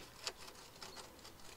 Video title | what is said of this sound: Carrosserie : soudure MAG | Quand ça craque comme ça là, et que ça fait ça, c'est que tu es bon pour découper.